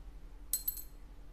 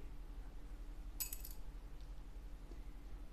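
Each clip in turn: First: synthetic bone guitar saddle dropped. Second: plastic guitar saddle dropped.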